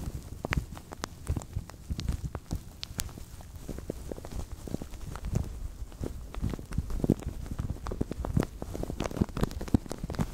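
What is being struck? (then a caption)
Thin plastic bag. Hands grip and crinkle a thin, translucent plastic bag stretched over a microphone. A steady stream of soft, irregular crackles and muffled low rustling fills the clip, with frequent brief sharp snaps flicking up into bright highs.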